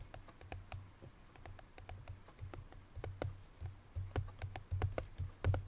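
Long nails tap rapidly on the front face of a hollow cream paperboard Chloé perfume box that contains its bottle. The taps come as quick, irregular, bright clicks, each dying out almost at once, over a steady low hum.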